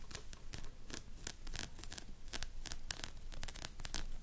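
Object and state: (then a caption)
Plush hedgehog toy with synthetic bristles. Long nails scratch through the stiff synthetic spiky fur of a medium, soft plush hedgehog toy standing on a table. Quick, bright, dry rasping strokes follow one another in a steady, crackly rhythm. Each stroke stops sharply with no ring.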